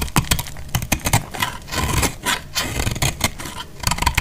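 A hand-held solid bar of dried, multicolor speckled soap is cut with a box-cutter blade, shaving off crumbly pieces. The result is a rapid series of short, dry, crisp scrapes and crackles with bright, gritty texture over a low, dull thud-like body.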